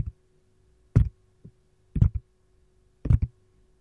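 Long gold nails tap and scratch the domed back and compartment edges of a hollow, empty green silicone lime-slice ice cube tray held on its side. Soft, dull, low thuds come in short double-tap clusters at an uneven pace, each dying instantly with no ring over a faint steady hum.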